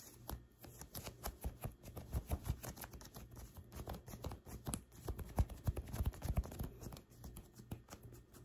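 Long white acrylic nails scratch and pick at a light blue printed cotton t-shirt being worn, the soft fabric lying over the body. Quiet, rapid, irregular scratches and dull ticks follow one another closely, mostly low and muffled with little brightness, each dying away almost at once.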